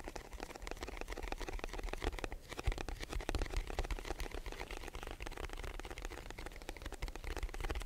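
Fingertips of both hands tap rapidly on the broad face of a hollow, white rectangular cardboard box held in front of and beside a microphone. The result is a dense, continuous patter of soft, dry, hollow taps with a low thumpy body and almost no ring.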